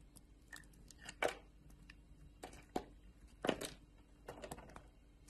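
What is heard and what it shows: A solid blue oval bar of soap held in the palm has thin layers shaved off with a metal utility knife blade, with long painted nails on the hand. Quiet, dry scraping and crisp slicing strokes come at an uneven pace. Each one is short and bright and dies away almost at once.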